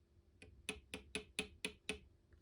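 An emu egg holding a live, moving chick is tapped seven times with nail clippers. Each tap is a short, dull click that dies away quickly with no ringing, and the egg sounds solid.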